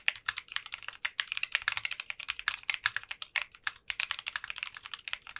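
Both hands type continuously with their fingertips on a 60% custom mechanical keyboard fitted with translucent pink polycarbonate keycaps. About 37 quick, bright, clacky keystrokes with very short decay come in a steady, uneven rhythm, centered in the upper mids around 2.4 kHz with almost no low end.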